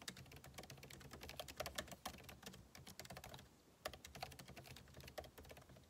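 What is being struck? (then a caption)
Laptop keyboard, plastic keys in aluminum body. Two hands type continuously with their fingertips on a backlit MacBook Pro laptop keyboard, whose plastic keycaps sit in a hollow aluminum case. The result is a rapid, steady stream of short, bright clicking key taps with quick decay and a soft low thump underneath. There is a brief lull just before the fourth second.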